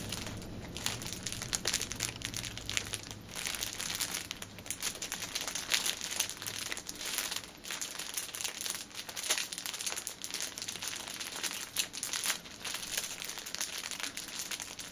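Fingertips and nails press and crinkle the sides and top of a six-pack of pocket tissues wrapped in clear cellophane film, resting on a table. The result is a steady, dense stream of bright, dry crinkling and crackling with short sharp snaps and almost no low end.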